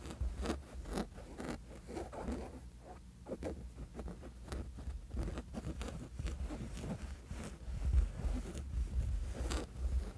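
Short fingernails of several fingers scratch back and forth across the soft, flat woven fabric of a sleep mask, close up. The result is a steady run of quick, dry scratching strokes with a soft rustle, sitting over a heavy low rumble.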